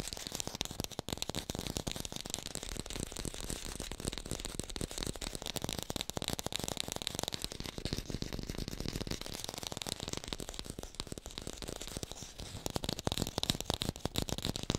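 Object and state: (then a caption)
Fake green apple. Fingertips tap rapidly on an artificial green apple, recorded with a hi-fi microphone. The dense, dry clicking runs without pause, with short taps that hold a low thud beneath a bright, crisp top. The taps grow slightly louder toward the end.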